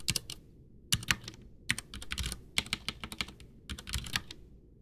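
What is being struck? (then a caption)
Plastic mechanical keyboard. Both hands type with their fingertips on a full-size, backlit white plastic Ducky One 2 mechanical keyboard with Cherry MX Brown switches and a hollow case, resting on a desk. The pressing and tapping produce quick bursts of bright, sharp key clacks with a soft low thump beneath. Each click dies away almost instantly, with brief pauses between flurries.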